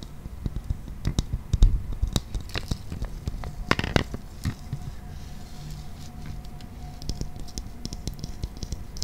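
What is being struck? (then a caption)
Hollow clear plastic toy ball. Fingernails tap and scratch on the shell of a clear, hollow, transparent plastic toy ball with a green toy inside. Quick, dry clicks and scratchy scrapes come in an irregular patter, with a few louder taps near the start. A faint steady low hum and a thin tone run beneath the second half.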